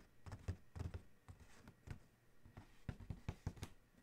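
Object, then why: Cardboard shoe box lid. Fingertips tap and scratch near the logo on the closed lid of a large, hollow black cardboard Adidas shoe box. The result is a quiet, irregular run of soft, dull, low thumps that die away almost instantly, with faint scratchy rustling between them.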